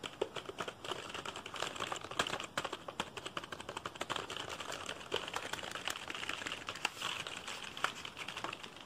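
A black plastic computer keyboard with a hollow casing is tapped fast by fingertips across the keys, then turned over so the back of the plastic case is tapped and scratched. The result is a dense run of quick, dry, bright clicks with very short ring over a faint scratchy hiss.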